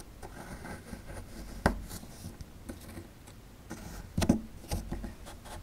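A metal pick scratches and chips inside a hollowed-out area of a solid plaster fossil dig block, sending crumbs falling. Soft, low scraping runs throughout, broken by a few sharp, dry chipping clicks that die away almost instantly.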